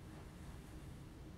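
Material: Nothing is struck.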